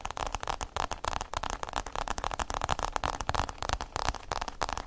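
Fingertips and nails rapidly tap and scratch the covered shell of a hollow, oblong hard-shell EVA zip case held in the hands. The result is a dense, crackly stream of short, dry clicks with hollow low thumps underneath and almost no ring after each strike.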